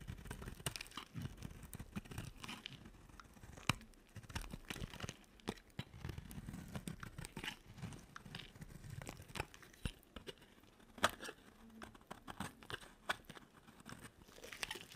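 A small metal blade scrapes flakes off the edge of a solid, dry, white and pink soap bar, partly carved down and held in the fingers. Quiet, continuous crumbly scraping and crunching with a low rustle underneath is broken by sharp, bright clicks as the flakes break away.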